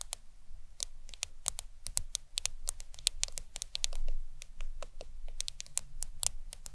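A black smartphone lies flat on a towel while long acrylic nails of both hands tap its glass screen. The taps come quick and irregular, each a short, bright click with no ring, over a soft low rumble.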